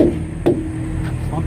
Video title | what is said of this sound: How to Back Up a Semi Truck and Trailer | Make sure you get a good ping out of the tire.